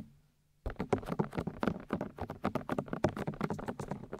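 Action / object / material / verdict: tap / silicone ear shells of a binaural microphone / silicone / none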